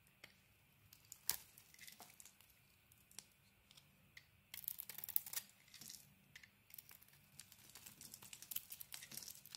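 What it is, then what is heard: Soap bar being carved. A metal utility blade carves a solid green-coated cream soap bar, shaving off flaky pieces. Quiet, bright scraping and crisp crackling ticks repeat throughout, with a denser, louder stretch of cutting near the middle.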